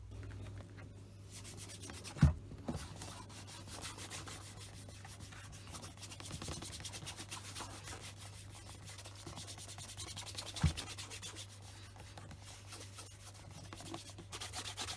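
A white cotton cloth wrapped around the fingers wipes and rubs the leather upper of a hollow black leather Scotch Grain wingtip shoe held in one hand. A soft, steady rubbing and brushing texture runs throughout over a low, constant hum, broken by two sharp soft knocks.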